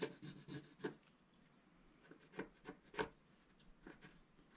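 The tip of a wooden stick scrapes across a black coated scratch-art card lying flat, revealing the colored layer beneath. The dry, raspy scratching comes in a dense cluster of strokes at first, then in sparser, irregular bursts separated by quiet gaps, with a brittle, bright edge and no ring after each stroke.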